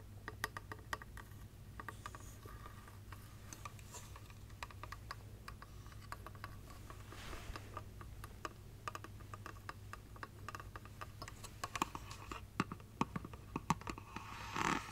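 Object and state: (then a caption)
Glass light-up Christmas tree figurine. Long nails tap on the body and glittery silver base of a hollow clear glass light-up Christmas tree figurine with LED lights inside. Quick, light clicking taps with almost no ring come in an uneven stream over a steady low hum, growing denser toward the end and closing with a brief louder scratchy flurry.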